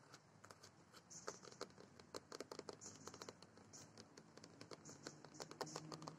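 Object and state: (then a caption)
Plastic playground dome tapped and scratched. Long nails and fingertips tap and scratch quickly on a large hollow orange moulded plastic playground dome on metal legs with embossed lettering. The clip is a dense run of sharp, crackly clicks and scrapes over a quiet, steady background hiss.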